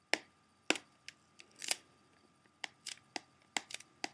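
A closed, hollow, clear plastic CD jewel case is held up while the fingertips and nails of both hands tap quickly across its front cover. The result is a series of sharp, bright, dry plastic clicks at an uneven pace, some landing close together in quick bursts. Each tap dies away almost instantly against near silence.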